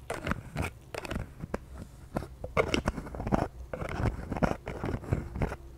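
Long painted nails tap a pink translucent plastic toner bottle with a white cap, partly full of liquid and held in the hand. A quick series of short, dull, crisp taps with soft crunchy clicks and scrapes, with little ring after each tap.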